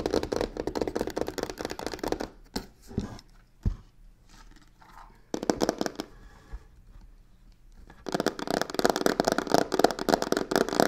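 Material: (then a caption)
Faux leather. Long painted fingernails rapidly scratch and tap the sides of a medium hollow box covered in black embossed crocodile-texture faux leather with white stitching, resting on a wooden table. Dense, crackly scratching opens the clip, gives way to a few sharp, hollow taps and softer brushing, returns in a brief burst, and then builds into loud, continuous fast scratching through the end.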